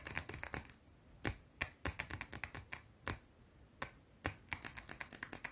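A round, solid white bar of soap is scratched and tapped with long teal nails in quick, uneven bursts. The sound is a run of about 26 short, dry, bright clicks and scrapes, some clustered fast and others spaced apart, with no ring and a quiet background between them.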